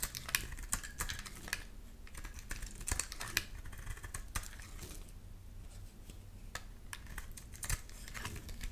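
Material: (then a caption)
Soap. A solid pink and white striped soap bar, held in the hand, is scraped with a box-cutter blade in repeated strokes that shave off thin layers. The result is a steady run of quick, dry, crisp scratching clicks with bright tops over a low, soft background.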